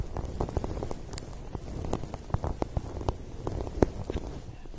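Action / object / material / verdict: tap / paper cup / paper / none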